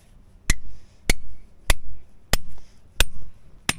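A hand sledgehammer strikes a steel chisel held by a gloved hand against a large, solid grey-white limestone boulder on a rocky hillside, knocking and chipping the stone. Six sharp, bright metallic cracks land at an uneven pace of roughly one every half-second or so. Each one dies away almost instantly over a low, heavy thud.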